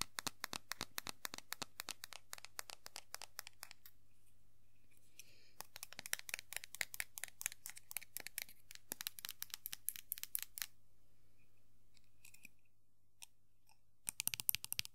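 Long nails scratch the head and hair of a small hollow vinyl Funko Pop figure of Sailor Jupiter held in hand. The result is rapid bursts of dry, bright scratching clicks, with short quiet gaps between runs, over a steady low hum.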